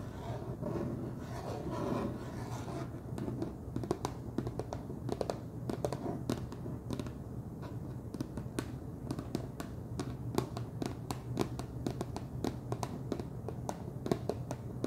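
Fingernails tap and scratch the top and ridged rim of a wide orange plastic screw lid on a large clear plastic jar full of cheese puffs. Soft scratching in the first few seconds gives way to a steady run of many quick, crisp clicks and taps over a faint low hum. Each tap is short and dry, with almost no ring.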